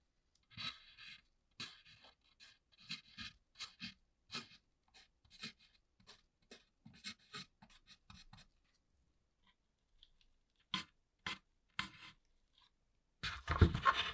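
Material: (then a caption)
Rusted steel. A gloved hand scratches words into the corroded, dusty surface of a flat sheet-metal shield inside a flooded Atari 2600 console, using the tip of a blue plastic pry tool. Quick, dry scratching strokes come in irregular bursts with short pauses, then a few isolated scrapes, ending in a louder, rougher burst of scraping.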